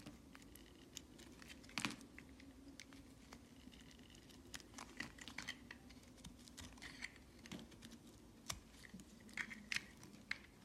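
A metal knife blade repeatedly scrapes and carves curled slices off a solid, palm-sized green hard soap bar held in the hand. The result is a quiet run of crisp, bright scraping and crackling ticks with scattered sharper snaps, over a faint steady low hum.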